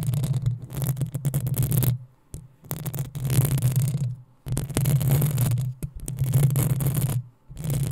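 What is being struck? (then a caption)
Metal mesh microphone grille. Long nails scratch up and down the hollow metal mesh grille of a black desktop microphone with both hands. Bursts of rough, gritty scraping come with a heavy low rumble and bright scratchy texture, separated by brief quiet pauses.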